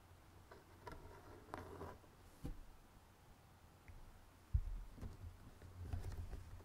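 Fingertips and nails tap along the edges of the lid of a closed, rectangular, printed cardboard jigsaw puzzle box lying on a red table, the box hollow and filled with puzzle pieces. Five quiet, dull, low taps sound with short gaps between them, each dying away almost at once, with a faint low rumble underneath.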